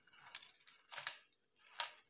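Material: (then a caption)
Fried pastry. Potato and vegetable rolls, just fried golden in oil and lifted out, give off crisp, bright crackling with a few sharper crunchy snaps, partly over a faint sizzle. The sound shows how crispy the rolls are.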